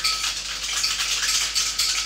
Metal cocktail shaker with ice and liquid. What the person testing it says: Now it's still clinking clanking, we'll keep shaking.